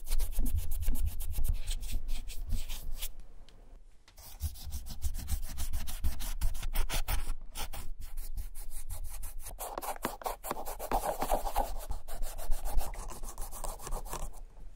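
A cotton ball wet with dye remover, held in metal forceps, is rubbed back and forth over the worn white leather upper of a Clarks shoe held in the hand, working near the heel and the side stitching. The sound is a steady, low, soft rubbing with a quick run of faint scuffing strokes, a brief quiet pause near the four-second mark, and a brighter swishing patch toward the end.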